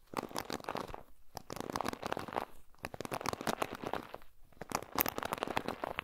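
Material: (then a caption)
Plastic. Fingertips and nails pluck and scratch across the plastic pin bristles of a paddle hairbrush with a black and silver plastic handle and a black cushioned head, held close to a Tascam recorder. Dense bursts of crackly, snapping onsets come in quick clusters, separated by brief quiet pauses near 1.2, 2.7 and 4.3 seconds.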